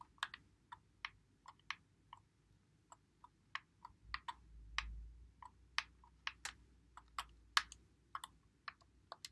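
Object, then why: Plastic game controller. Fingertips press and click the buttons and thumbsticks of a white Xbox One controller, its hollow plastic body held in both hands. About nineteen short, sharp plastic clicks are heard in an irregular rhythm, each bright and dying away almost instantly. A faint low rumble swells briefly near the middle.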